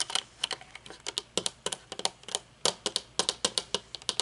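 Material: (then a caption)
Metal. Long painted nails tap the dark lenses and metal frame of aviator sunglasses resting on a wooden table, and fidget with the thin metal temple arm. About two dozen quick, bright clicks and ticks come in an uneven rhythm, each dying away almost at once, with almost no low end.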